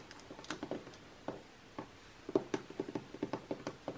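Long painted nails tap and scratch the same page spread of an open glossy magazine lying flat on a table, its thin coated paper pages resting over a soft stack. Fifteen short, dry, papery taps with mid-range body and almost no ring are heard, spaced sparsely at first, then coming in a quicker, louder run in the second half, with faint scratchy brushing between them.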